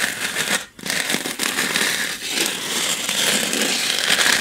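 Long nails scratch and tap a small white styrofoam packing block held upright, making a dense, bright, crackly squeak with almost no low end. The scratching runs almost continuously, with a brief near-silent pause early on and a few quick taps standing out, then builds slightly louder toward the end.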